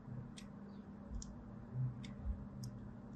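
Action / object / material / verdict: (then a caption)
scrape / bar of soap scratched by a thin blade / soap / none. A thin blade scratches fine lines into a solid white Duru soap bar held in the palm, making faint, crisp, bright scratching ticks at an uneven pace. The ticks sit over a steady low hum and soft low thumps, and the overall level stays quiet.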